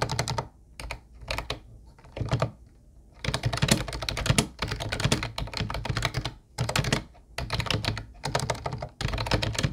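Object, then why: Plastic computer keyboard. Fingertip typing with both hands on a mint-blue plastic Ubotie keyboard with round white keycaps. Rapid bursts of short, clacky keystrokes with a hollow, low thunk and bright click are separated by brief pauses. Each tap dies away almost instantly.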